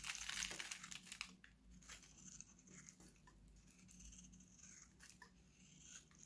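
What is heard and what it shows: A solid, dry oval green Nivea bar soap, held in one hand, is shaved with a steel utility knife blade, and dry shavings pile up. Bright, crisp scraping and crunching cuts come fast and loud at first, then settle into quieter, uneven scrapes with a faint low hum underneath.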